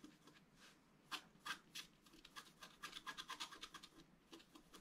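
A wooden stylus scratches fine lines into the black coating of a scratch-art card with colored foil underneath, lying flat on a table. Quiet, bright, dry scratching comes in short, irregular strokes of roughly three per second, with some strokes louder and crisper than others.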